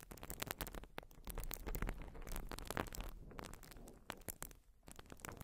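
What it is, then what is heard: Foam sponge being scratched. Long nails scratch and squeeze a white open-cell urethane foam sponge, producing a dense run of quiet crackling, scratchy clicks over a soft, low rumbling bed. The sharp, bright clicks come in quick uneven bursts that die away almost instantly, with brief quieter gaps between the clusters.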